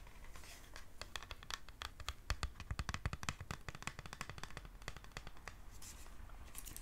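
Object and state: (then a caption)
Cardboard gift box tapped with fingernails. Long nails rapidly tap and scratch the surface of a small printed cardboard face mask gift box with a pink ribbon, held up in the hands. Dense, quick, dry clicks and scrapes run throughout, each with a bright crack over a soft low thud, along with a continuous faint scratchy rustle.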